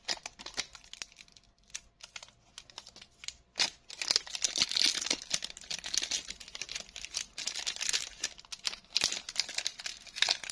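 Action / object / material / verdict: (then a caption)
scrape / foil-lined plastic candy bar wrapper / foil plastic / none. A small, flexible Bazooka chew bar wrapper of blue printed plastic with a silver foil lining is held in both hands with fingertips and medium painted nails, peeled open and crinkled, while other candies lie still on a wooden table. Sparse, bright crackles and ticks start quietly, then build after a sharp snap into dense, continuous high-pitched crinkling with almost no low end.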